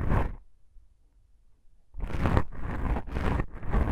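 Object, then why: Foam microphone windscreen. Long pink nails on both hands scratch black foam microphone windscreens made of soft, porous foam. A short burst of rough, rumbling scratching is followed by a near-silent pause, then steady scratching resumes with brief dips, heavy in low, muffled rumble and crackle.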